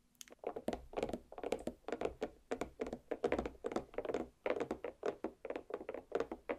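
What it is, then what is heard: Watermelon half tapped with fingernails. A large green-striped watermelon half, lying cut side down on a plate with solid flesh inside, is tapped rapidly with the very long black pointed nails of both hands. The result is a quick, steady run of short, dull thunks centered around 470 Hz, each with a faint bright click and almost no ring.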